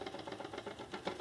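A plastic book-shaped safe shell holding a metal safe box is shaken while fully closed, producing a quick series of light, dry rattles. The rattle is still present with the safe closed all the way, and its source is unknown.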